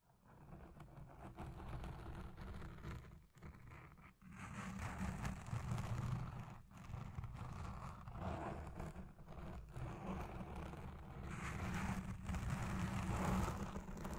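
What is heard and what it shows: Long red-painted fingernails of both hands scratch the soft, porous black foam windscreen dome fitted over the capsule of a Blue Yeti Pro microphone. The result is a dense, continuous low rumbling scratch with a deep thumping texture, briefly dropping out around three to four seconds before swelling back to steady rubbing.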